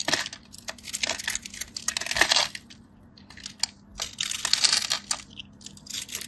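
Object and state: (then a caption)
Bar of soap being carved. A metal craft knife scores a grid into a solid, off-white, palm-sized rectangular bar of soap held by fingers with short blue nails, then chips pieces off. The result is a run of bright, dry scratching and crisp crackling bursts with sharp little clicks that stop almost instantly, with quiet gaps between the strokes.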